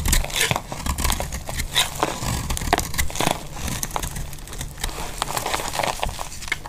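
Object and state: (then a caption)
Dry bar soap. A solid, dry, embossed pink bar of soap held in the hand has thin flakes shaved from its face with a utility-knife blade. Brief, bright scraping and crumbly crackles come one after another with no lingering ring, over a low rumble.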